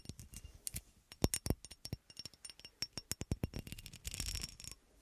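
Long nails scratch along the ridges of a solid, textured cut glass horseshoe gripped in the hand. A quick run of short, crisp clicks and scrapes, some with faint bright glassy ringing, ends in a denser, continuous rasping scratch before fading out.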